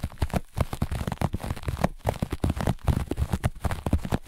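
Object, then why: Flat looped carpet. Fingertips and long nails of both hands rapidly scratch and rub the pile of a flat, looped grey-beige carpet. The result is a dense stream of short, dry, crackly scrapes, mostly low and muffled with little brightness.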